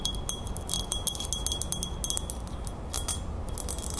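Long nails rapidly tap and scratch the flat base and rim of a silver-toned metal crown with a fleur-de-lis emblem. The result is a quick, uneven run of bright, chime-like metallic clicks that ring briefly over a low, steady background rumble.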